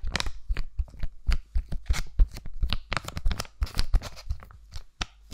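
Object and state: Foil-plastic sheet mask pouch.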